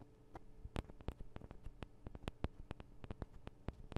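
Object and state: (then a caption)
Fingernails tapping metal microphone capsules. Long acrylic nails on both hands tap the small hollow metal microphone capsules of a Tascam DR-40 recorder, making about 20 quick, dry clicks that die away almost instantly. The taps come in an uneven rhythm over a steady low hum, with most of the sound sitting in the low range.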